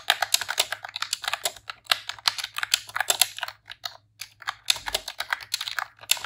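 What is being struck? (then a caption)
Plastic computer keyboard. A pink retro-style plastic computer keyboard with round keycaps is typed on with long press-on nails and fingertips in rapid key presses. The result is a fast stream of bright, crisp clicks and clacks with very short decay and a brief pause midway before the typing resumes.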